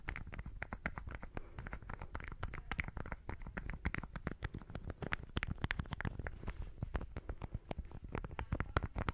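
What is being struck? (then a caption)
Small egg-shaped plastic lip balm case. Long manicured fingernails rapidly tap and scratch a small pink and white egg-shaped plastic lip balm with a hollow case, held in one hand. A dense, steady stream of short, dry, hollow clicks mixes with light scratching for about nine seconds. The sound is heavy in the low end, with each tap dying away almost instantly.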